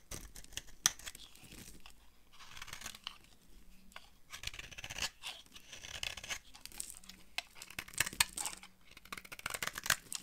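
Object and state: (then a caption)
Dry bar soap. A utility knife blade carves and scrapes a solid, dry purple bar of soap, and the flakes fall onto a pile of shavings. Quiet, bright, crisp scraping and crackling runs through the clip, broken by many sharp, short ticks and crunches that die away almost instantly.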